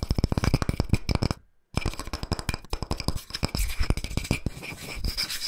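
Fingertips and nails of one hand rapidly tap and scratch the cut face and bark edge of a round, flat, solid slice of tree trunk with its bark rim on, about palm-to-plate size, held in the other hand. The result is a fast stream of short, dull, low wooden knocks mixed with dry scratching, broken by a brief silence before the tapping resumes.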